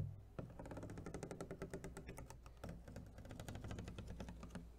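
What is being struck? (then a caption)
Clear plastic clamshell food container. Long fingernails tap quickly across the flat lid and ridged rim of an empty, hollow clear plastic clamshell food container held up in the air. The result is a quiet, steady flurry of short, dry clicks with a low, hollow body under them. Each tap dies away almost at once.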